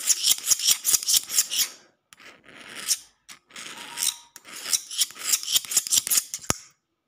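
A metal utility knife blade scratches and taps a solid concrete floor, making bright, hissy scrapes in quick irregular bursts separated by short pauses. A single sharp tap rings out near the end before the sound stops.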